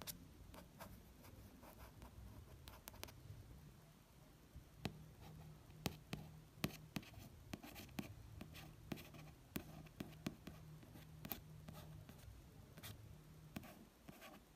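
Quiet rubbing and tracing across a smooth card cover, broken by many small, dry clicks with no ring at all. The solid paper block beneath deadens every touch. A low steady hum sits underneath in a small room.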